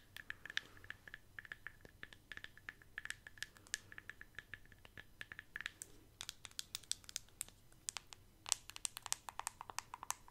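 Long fingernails tap rapidly on the bottom and sides of a white plastic Elemis cosmetic jar, producing quiet, bright, clicky sounds like typing. The taps are short and dry with almost no ring, and a faint steady tone sits beneath them in the first half.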